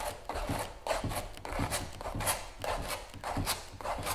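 A palette knife scrapes and spreads white gel over a large stretched canvas giclee print lying on a table. Repeated, somewhat uneven strokes produce a dry, broadband rasping with soft low thumps at each stroke's start and bright, hissy streaks as the blade drags across the canvas.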